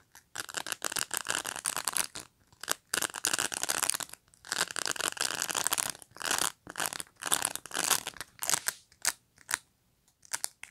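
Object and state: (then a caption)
Plastic brush bristles scratched. Fingertips and nails pluck and scratch the rows of dense plastic pins on a black pet brush. The result is bright, dry, crackling rasps in irregular bursts of varying length, separated by brief silences, with almost no low end.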